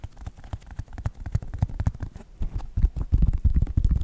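Fingertips and nails tap the synthetic leather upper and purple foam sole of a white Nike sneaker. The result is a quick, irregular run of dull, low, muffled thuds with almost no ring, growing somewhat louder toward the end.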